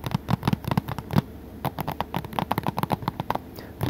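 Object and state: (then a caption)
Plastic Blu-ray case tapped. Fingertips tap on the front cover of a blue, hollow plastic Three Musketeers Blu-ray case, giving 21 quick, dull, hollow knocks with a low body and almost no ring. The taps come in fast bursts with short pauses between them.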